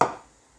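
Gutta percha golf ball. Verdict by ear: Hard.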